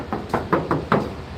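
Five hand knocks on the steel body panel of a 2014 Isuzu D-Max 2.5 Z VGS pickup give short, clear, hollow taps with a brief ring and little low thump. The clear, undamped tone shows the paint is all factory original, sprayed once directly on the steel with no repaint.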